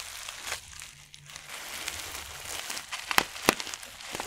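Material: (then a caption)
Plastic. A palm-sized black matte plastic stand-up pouch of Pure Leaf green tea, partly filled with loose tea leaves behind a clear window, is tapped, rubbed with fingertips and crinkled on a dark textured mat. Soft, bright rustling crinkles run throughout, with two sharp louder crackles near the end.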